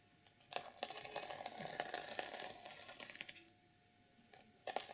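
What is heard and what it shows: Long purple nails scratch and flip the plastic sequins on the reversible sequin fabric cover of an unwrapped journal. Dense, bright crinkly clicks and rasping sweeps run for about three seconds, fade to near silence, then return in a sharp final burst.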